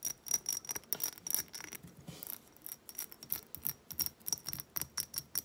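Long nails tap and scratch the beaded surface of a small, hobnail-textured glass reed diffuser bottle with wooden reeds, held up. About twenty quick, bright clicks ring briefly, with soft scraping between them.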